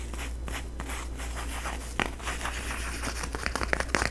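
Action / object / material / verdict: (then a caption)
scrape / plastic tinsel pumpkin decoration / plastic tinsel / none. A flat, face-sized orange plastic tinsel jack-o-lantern decoration is held close to the microphone as fingertips and nails rub and crinkle its tinsel strands. The result is a steady, close crinkling and scratching rustle with bright, sharp crackles that grow denser and louder toward the end, over a low steady hum.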